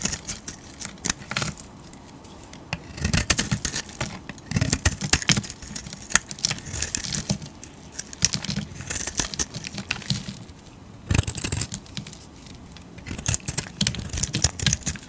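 A solid rectangular blue bar of soap held in the hand is shaved with a metal utility-knife blade. Dense, crisp scraping and crackling bursts come in repeated waves, bright and papery with a soft low rumble underneath. Quieter pauses fall between the cutting passes.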